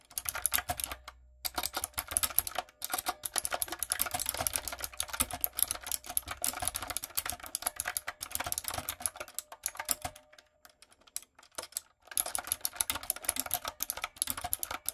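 A typewriter-style retro mechanical keyboard with round plastic keycaps and light-up keys is typed on with fingertips and long nails. It makes rapid, bright clicking and clacking in steady bursts, with short pauses near 1 second, around 10 to 12 seconds, and a fast flurry again at the end.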